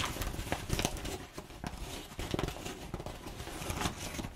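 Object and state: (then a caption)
Crumpled kraft paper. Long nails scratch and pinch along the folds of crumpled brown kraft packing paper. Dense, dry crinkling and scratchy crackles come in uneven bursts, with short bright snaps over a soft low rustle. Each crackle dies away almost instantly.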